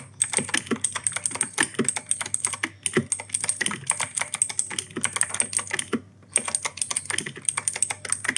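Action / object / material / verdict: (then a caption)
tap / mechanical keyboard with plastic keycaps / plastic / none. Fingertips type steadily on the plastic keycaps of an E-Yooso K-620 mechanical keyboard with clicky Outemu Blue switches. A fast, uneven stream of sharp, bright clicks, each with a short clack, runs throughout. There is one brief pause just before the six-second mark.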